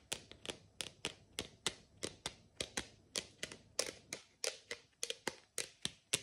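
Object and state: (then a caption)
Plastic water bottle tapped with nails. Long nails rapidly tap the side of a tall, hollow, frosted plastic water bottle with time markings, held close. Twenty-three sharp, bright clicks ring for only a split second each, with almost no low end.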